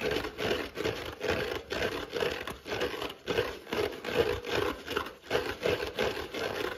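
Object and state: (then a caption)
Kitchen sponge with scouring pad being scratched. Fingertips and short nails scratch the green fibrous scour pad, then the yellow foam side, of a dry, palm-sized yellow foam kitchen sponge held in one hand. The result is a quick, uneven run of short, rasping scratch bursts with a dry, papery hiss and a faint mid-range tone near 480 Hz.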